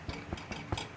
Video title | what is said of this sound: Baking bread in the WEBER with Miss B | so you can hear that hollow sound so that hollow sound is what you're looking for